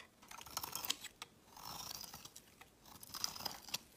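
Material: Soap.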